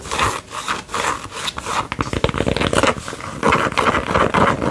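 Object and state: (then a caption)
Fabric sun visor. Long fingernails quickly tap and scratch the band and stiff brim of a white Adidas fabric sun visor worn on the head. The result is a rapid run of dry, scratchy rubbing and light ticking taps, brightest around 1 kHz, that swells and dips in loudness throughout.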